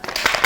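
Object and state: Loose-fitting sword in its sheath.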